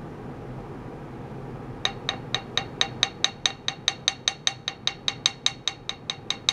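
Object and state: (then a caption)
Clamped metal plate. A thin, flat, solid metal plate roughly A4 in size, clamped to a green bench with blue clamps and carrying a cylindrical ultrasonic transducer and a paper square, is tapped 23 times with a small wooden mallet, probably while an ultrasonic drive runs on it. After nearly two seconds of faint hiss, the taps come in an even, quick rhythm, each a bright, short metallic tick that rings near 3.8 kHz and dies away almost at once.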